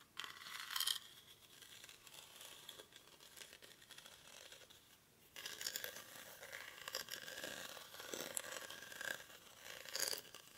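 Short fingernails scratch and rub across the weave of a hollow, cylindrical woven rattan/reed basket held in both hands. The result is a quiet, dry, bright scratching and crackling texture with almost no low end. It has a louder burst near the start, grows busier and louder after about five seconds, and peaks again near the end.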